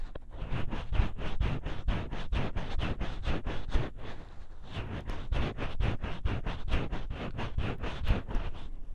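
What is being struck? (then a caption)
Silicone ear of a dummy-head microphone. Fingertips and nails rub and scratch the soft silicone ear of a gray binaural dummy-head microphone. The result is a steady run of quick, muffled, bassy scraping strokes with a brief softer pause midway. The sound is close and dull, with almost no high end.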